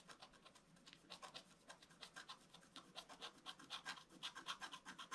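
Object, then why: Coated scratch art paper scraped with a wooden stylus. A wooden stylus scratches the figure's body on a flat scratch art paper sheet with a black coating. About four short, dry scratching strokes per second sound in an uneven rhythm. Each has a bright, hissy rasp and little low end, and they grow slightly louder toward the end.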